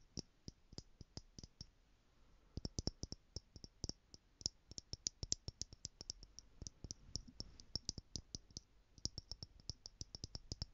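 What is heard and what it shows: A small stack of clear plastic stacking jars filled with gold glitter, held in one hand, is tapped with long nails from the other hand. About 53 quick, dry, bright clicks come in rapid bursts, with brief pauses between runs. Each tap dies away almost instantly against a quiet background.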